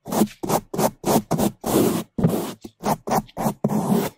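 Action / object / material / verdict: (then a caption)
scrape / foam microphone windscreen scrubbed with a bristle brush / foam / none. A gloved hand scrubs the top of a black foam microphone windscreen with a single bamboo toothbrush with blue bristles. Loud, fast, separate scratchy brushing strokes come in an uneven rhythm, each a short burst of bright, rustling friction over a low, muffled thump, with no ringing afterward.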